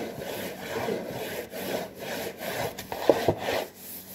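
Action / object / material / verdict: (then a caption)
scrape / cardboard cracker box / cardboard / none. A hand scratches and rubs the surface of a hollow, printed cardboard saltine cracker box. The result is a steady, dry scratching texture with a papery midrange body and brief pauses between strokes. A few sharper, brighter scrapes stand out near the end.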